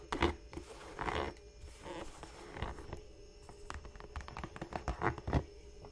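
Fingertips and long nails tap and scratch the chunky rubber sole of a single black smooth-leather Dr. Martens Chelsea boot, held hollow and empty in the hands, then move to its leather toe cap. The result is a quiet run of soft, dull taps and brushing scratches with muffled low thumps that die away almost at once.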